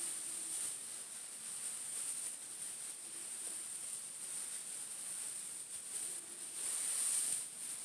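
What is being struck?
Nothing is struck.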